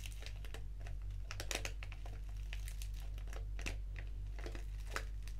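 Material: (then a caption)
Foil-lined paper. A small, flat, black foil-lined paper tea sachet of Organic English Breakfast is squeezed and crinkled between the fingertips and long nails. Irregular bursts of dry, bright crinkling and crackling sit over a steady low hum.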